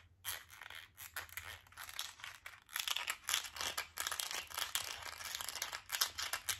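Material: Plastic.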